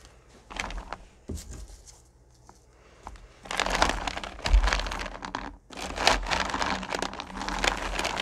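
A hand stirs and rakes through a pile of small, solid candy corn pumpkins in a purple plastic bucket. Short bursts of crisp clattering come first, then a quieter lull, then dense, loud, crinkly rattling from about 3.5 seconds on. A brief pause breaks it near 5.6 seconds before the busy shuffling resumes to the end.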